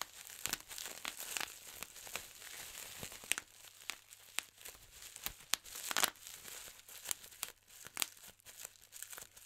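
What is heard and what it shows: Fingertips pinch a large clear plastic bubble wrap sheet and pop its air-filled bubbles one by one. Sharp, bright snapping pops ring out over continuous crinkling of the plastic, with almost no low end.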